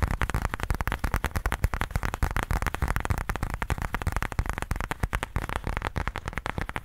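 Fingertips scratch and tap the face of a black pebbled faux leather case held upright. The result is a dense, continuous run of quick, dry taps and scratchy rustles, with the energy weighted toward low, muffled thumps and each hit dying away almost instantly.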